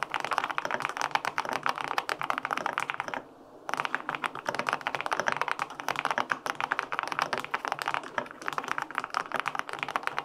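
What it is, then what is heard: Aluminum mechanical keyboard being typed on. Fingertips type steadily on the plastic keycaps of a white-pink full-aluminum 65% mechanical keyboard with linear switches, producing a rapid stream of short, crisp clacks. The typing pauses briefly around the third second, then resumes at the same quick pace until the end.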